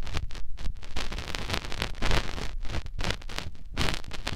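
A fingertip rubs and twists inside the canal of a white silicone ear on a binaural microphone. The result is a close, muffled run of soft scratching and rubbing bursts, heavy in low rumble with brief bright crackles.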